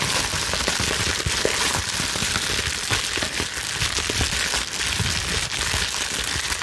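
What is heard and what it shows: A loosely bunched sheet of clear plastic bubble wrap is held in both hands and slowly scrunched with long nails. The result is a continuous, bright crackling and crinkling at a steady level, with small sharp snaps scattered throughout.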